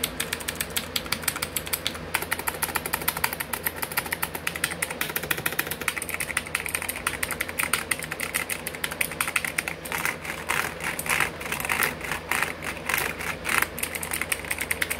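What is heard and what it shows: A full-size backlit mechanical computer keyboard with black plastic keycaps sits on a wooden desk shelf while fingertips tap and drum rapidly across the keys. The result is a dense, continuous stream of bright, sharp clicking keystrokes over a low steady hum.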